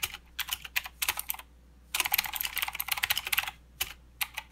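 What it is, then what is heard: Plastic mechanical keyboard with clicky switches. Both hands type with their fingertips on a full-size mechanical keyboard with plastic keycaps and blue clicky switches. Sharp, bright, quick-decaying clicks come in short bursts, then a pause, then a dense run of keystrokes. The clip ends with a few scattered clicks.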